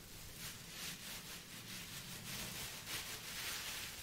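A clear plastic bag, partly filled with dried red rose petals, is held in both hands and crinkled and shaken with the fingers. It makes a steady, quiet, bright crackling rustle with small swells and no distinct separate hits.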